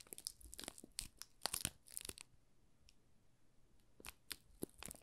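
Thumbs press and rub the thin clear plastic film wrapped over a small solid yellow soap bar, making it crinkle. Bright, sharp crackles come in clustered bursts, with a quieter stretch in the middle before a few more crisp snaps near the end.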